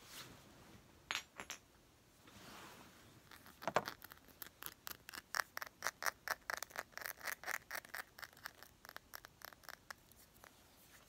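Fingers tap on a glass perfume bottle, producing a quick series of bright, short clinks with almost no low end. A soft rubbing swish comes early on, and the taps grow denser and more steady toward the end.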